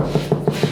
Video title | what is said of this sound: Make It Happen: Episode 2 | So we've got a stud there. That's a stud.